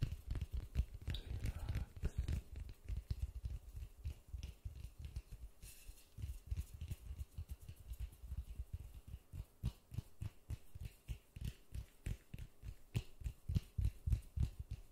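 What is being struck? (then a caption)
Polystyrene foam ball. Gloved fingertips tap a large white polystyrene foam ball held in white-gloved hands. The result is a rapid, uneven patter of soft, dull, low thuds that die away almost instantly, with little high-end brightness.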